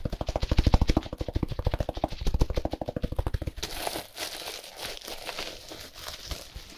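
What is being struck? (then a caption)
Compressed hay block wrapped in plastic film. Gloved hands rapidly scratch and tap a plastic-wrapped compressed hay block, making a fast run of dull, low thumping strokes for about three and a half seconds. The sound then shifts to softer, brighter crinkling and rustling of the plastic film.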